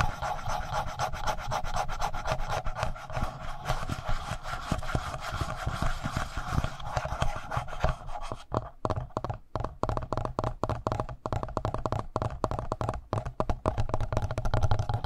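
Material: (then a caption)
Plastic. Fingertips rub and scratch the upper front panel of a black plastic Tascam handheld audio recorder. The result is a dense, low, rumbling rasp that is steady at first, then breaks into quick, separate scratching strokes with short gaps in the second half.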